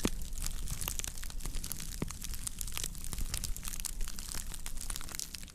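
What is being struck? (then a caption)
Woven straw plate. Long nails scratch the underside and rim of a round woven straw plate while it is held, slightly squeezed and tilted. The result is a steady, dense crinkling and crackling, with bright, dry ticks over a low, rumbling base and no lingering ring.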